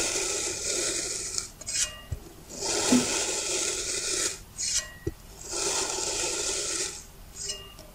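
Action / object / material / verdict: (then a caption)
scrape / kinetic sand block cut with a metal blade / kinetic sand / none. A thin metal knife blade presses down through a small, hand-sized, rounded block of green kinetic sand on a white surface, slicing it into even slabs. Each cut is a long, bright, grainy rasp, with three strokes heard and brief soft taps between them as the blade settles.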